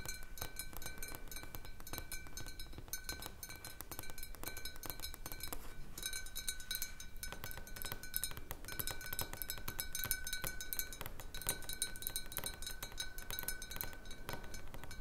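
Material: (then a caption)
Glass. Fingernails of one hand tap the side of a large clear glass jar partly filled with water. Quick, irregular, light clicks come steadily for the whole clip, with a faint sustained glassy ring underneath. Each tap is short and bright.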